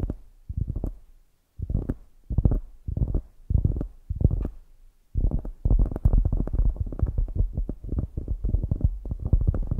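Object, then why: Polyurethane foam squishy toy. A palm-sized, solid polyurethane foam squishy toy shaped like a donut with an orange glazed top sits on a microphone and is tapped and scratched with long grey acrylic nails. The result is deep, muffled thumps and rustles, almost all low in pitch with no bright content. Short bursts separated by gaps give way after about five seconds to a continuous stretch of dense tapping.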